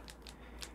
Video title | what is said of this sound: SIMPLE BLOWBY TEST AND EXPLANATION WHY EXCESSIVE BLOWBY IS BAD | you shake it and you hear that rattling noise, then you know the valve is working